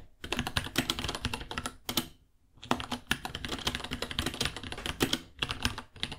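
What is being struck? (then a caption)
Plastic mechanical keyboard. Fingertips type quickly on a white 66-key mechanical keyboard with Gateron Brown switches, plastic keycaps, a hollow case about 30 cm long, and purple underglow. Dense, bright plastic clacks with a hollow low thud run in fast bursts, with a short pause near the middle before typing resumes.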